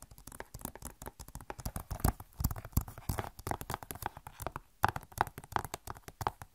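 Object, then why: Plastic game case. Long nails tap rapidly on the back of a hollow plastic Overwatch game case, producing about 43 quick, dry clicks and hollow knocks in an uneven rhythm. Each tap is very short with almost no ring, giving a low, thumpy body and a hollow tone around 800 Hz, with little high-end sparkle.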